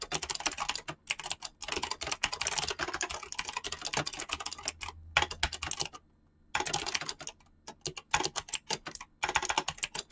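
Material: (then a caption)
Plastic. Fingertips type rapidly on a mechanical keyboard with pink-blue PBT plastic keycaps, producing a dense stream of bright, clicky switch presses. Brief pauses break up the bursts, with the longest quiet gap about two-thirds of the way through before the fast typing resumes.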